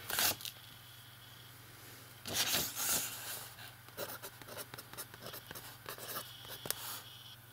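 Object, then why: Metal pen nib on a paper page. A fountain pen nib writes and scratches across a page of an open lined paper notebook, making dry, bright scraping strokes over a faint steady low hum. Short scratchy bursts come at irregular intervals, with a few longer, louder scraping strokes near the start and middle.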